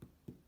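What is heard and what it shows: Two dull, low thumps sound as the bottom of a baked gluten-free, vegan whole grain teff boule loaf is tapped twice. Each knock dies away quickly. The loaf sounds hollow, the sign that it is baked through.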